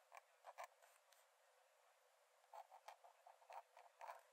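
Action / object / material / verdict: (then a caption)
scrape / metal pen nib on paper sketchbook page / paper / none. A metal nib in a wooden dip-pen holder scratches thin lines onto the cream paper page of an open sketchbook lying flat on a dark desk. Quiet, short, scratchy strokes with a mid-pitched squeaky edge come in a few bursts at the start, then a pause, then a quicker run of strokes toward the end.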